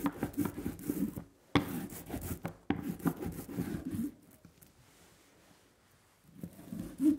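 A small red rubber brayer is rolled by hand in repeated strokes across a flat, solid linoleum printing block carved with a leaf pattern and coated in tacky black ink. It makes a low, sticky, crackling rolling texture with a couple of sharp clicks. The rolling stops into near silence for about two seconds, then resumes.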